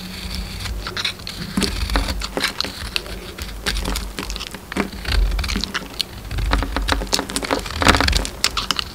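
A solid red DURU soap bar with a pink inside, held in the hand, is carved and scraped with a metal utility knife blade. Dense, crackly scraping and short bright cuts patter over a low rumble. The sound builds to a louder stretch near the end.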